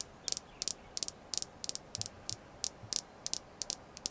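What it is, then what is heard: Red jasper stone. A red jasper crystal stone is tapped continuously, giving fourteen short, dry, bright clicks at an uneven pace, some landing as quick doubles. Each click stops almost at once over a faint steady hiss.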